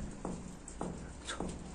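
Knocking on the original solid balcony wall gives three dull, low thuds with a short, damped ring. The wall sounds solid, different from the hollow insulated section beside it.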